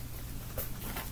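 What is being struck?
Nothing is struck.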